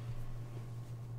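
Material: Nothing is struck.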